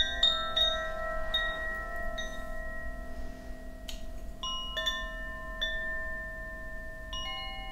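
A bamboo Koshi wind chime, a hollow bamboo tube with metal rods inside, is hung from the fingers and shaken. Its rods strike in irregular clusters of bright, bell-like tones with long, sustained overlapping rings over a low background hum.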